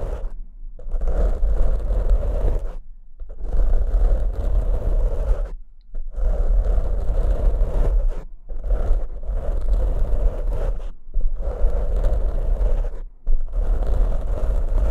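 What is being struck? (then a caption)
Foam microphone windscreen. Fingertips and short nails scratch and rub the black foam windscreens on two studio microphones. The result is bursts of dense, deep, scraping rustle with a strong low rumble and a mid-range band. The bursts are broken by several brief near-silent pauses.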